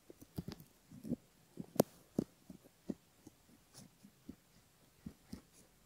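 A bamboo ear pick scratches along the inner folds of the outer ear on a silicone ear model, recorded close up. It makes soft, irregular scraping and scratching strokes with a dull, low-mid tone, each one short and dry. Faint brighter ticks sit over a quiet background.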